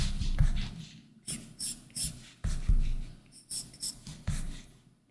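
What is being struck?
Plastic stylus tip on glass tablet screen with matte plastic film.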